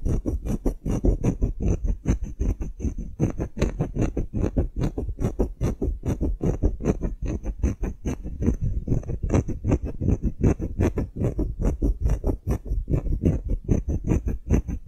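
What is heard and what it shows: Long nails tap and scratch a solid engraved wooden block tag in a steady, uneven stream of quick, dry knocks. The sound is dull and low-heavy, with each tap dying away almost at once and a faint bright scratchy edge running underneath.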